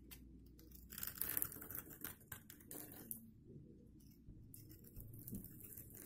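A hand-sized bar of dry green-and-white striped soap, held in the hand, is scraped and scored with a metal blade and crumbles into green flakes. Dense, bright crackling scrapes come in quick bursts, loudest in the first two seconds, ease off briefly, then resume more softly over a low, quiet background hum.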